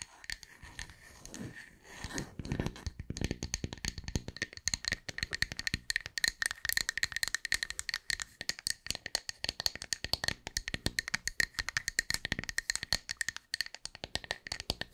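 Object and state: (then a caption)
Wooden tree slice. A round, solid, flat slice of light wood with a bark rim is held in both hands and tapped and scratched with long white nails close to the mic. Rapid, dry, bright clicks and scratchy rattling run throughout, with a steady ringing tone near 1.8 kHz and a few soft low thumps early on. Each tap dies away almost instantly.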